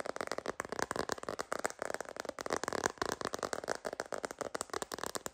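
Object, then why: Hard plastic phone case. Long green nails tap quickly on a sparkly hard plastic glitter phone case with a rose-gold rim and a hollow shell. About 22 dry, hollow clicks follow one another in a rapid, uneven patter, with a midrange body and almost no ring after each tap.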